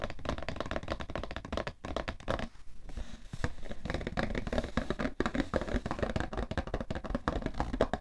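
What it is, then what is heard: Cardboard tissue box. Fingertips tap and flat hands pat on the top of a cardboard tissue box in a dense, rapid flurry of short, dull knocks. The sound is low and hollow with little brightness, and each tap dies away almost at once. The tapping eases briefly about a third of the way through before resuming at full pace.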